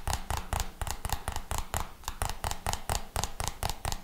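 A white plastic jar with a red label is tapped and scratched with the fingertips. A quick, uneven run of about eighteen short, dull taps with a low thump and a bright scratchy edge, each dying away almost at once.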